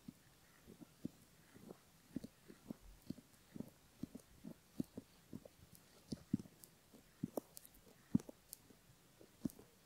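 A bamboo ear pick scratches the inner upper folds of a silicone left ear model while fingertips hold the ear. A quiet, irregular series of short, dry scratching and tapping sounds is heard, soft and low-to-mid in tone with occasional brighter ticks and no lingering ring.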